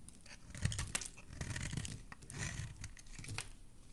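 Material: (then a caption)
Soap. A solid white oval bar of soap, held in fingers with dark nails, is shaved with a utility blade, and white shavings fall below. Irregular, crisp scraping and crackling strokes come with soft low thuds and bright high hiss. The sound stays quiet and close, rising and falling with each pass of the blade.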